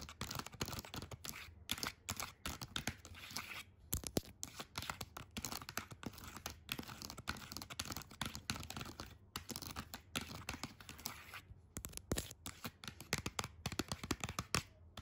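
Long acrylic nails quickly tap and scratch on the printed parrot lid of a small, flat metal tin of colored pencils held in the hand. The result is a dense, continuous run of dry clicks and bright scraping with short, barely ringing taps throughout.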